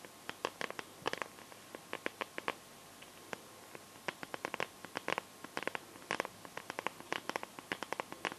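Long nails tap and scratch the back of a smartphone in a clear pink plastic case filled with liquid glitter and stars. The result is an uneven stream of short, sharp, bright plastic clicks with no ring, and light scratching between them. A faint steady tone sits underneath.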